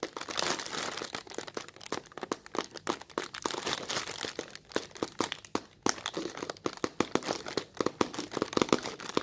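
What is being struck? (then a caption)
Thin plastic film bag. Fingertips with short, red-polished nails press and scratch at a large, soft, translucent white thin-film plastic bag that sits loosely filled and bunched on a table. The result is a steady, dense crinkling with sharp, dry crackles and brief snaps that die away almost instantly. The sound is bright, hissy and nearly without low end.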